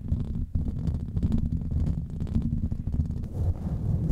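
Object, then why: Foam microphone windscreen. A grey foam windscreen on a microphone is scratched and rubbed directly by the fingertips and nails of both hands, with rings worn on the fingers. The result is a dense, continuous low rumbling and muffled scratching, heavy in the bass with almost no bright content, and a brief dip just before the half-second mark.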